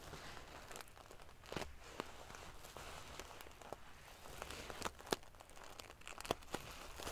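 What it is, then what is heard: Metal sequin pillow. A large decorative pillow covered in rows of small silver metal sequins sewn onto fabric is scratched and ruffled with long painted fingernails. A steady, quiet, prickly rustle of the metal pieces is broken by sharp, bright clicks and brief scraping bursts.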